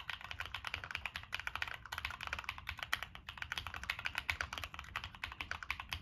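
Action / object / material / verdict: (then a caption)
tap / mechanical keyboard with plastic keycaps and a metal case / plastic, metal / none. Fingertips type steadily on a Monsgeek M1 mechanical keyboard with NK Cream switches, a dark metal case and purple and black plastic keycaps. The result is a fast stream of short, crisp clacks that are bright in the upper mids, with a soft low thock under each press and almost no ring between strokes.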